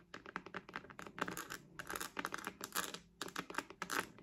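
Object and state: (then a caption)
Patent faux-leather wallet. Long nails rapidly tap and scratch across a hand-sized purple glossy croc-embossed patent faux-leather wallet with a metal rhinestone logo, held in both hands. The result is a dense run of short, dry clicks and scrapes with bright, crinkly highs, each dying away almost instantly.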